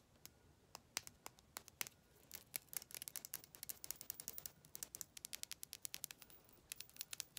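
A slim pink plastic lip gloss tube, held upright, is tapped and scratched with long pastel nails. Sharp, bright, high-pitched clicks come sparsely at first, then build into a rapid, steady run of fast taps with light scratchy texture between them. The clip is quiet, with almost no low end.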